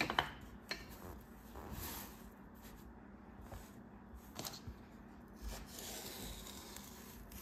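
A bare hand and forearm rub and press across a large, flat, solid slab of pressed kinetic sand, half green and half pink, lying on a white table. The result is a quiet, soft, gritty rubbing with a bright hiss, broken by a few faint scraping ticks.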